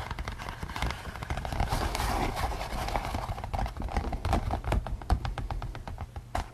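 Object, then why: Latex rubber mask. Fingertips and nails scratch and tap across the top and ears of a pink latex rubber pig-head mask worn over someone's head, the hollow mask filled by the wearer's head. Soft, dry scratching rustles blend with quick, irregular taps and sharp clicks over a heavy low-frequency rumble. The taps grow crisper and more distinct toward the end.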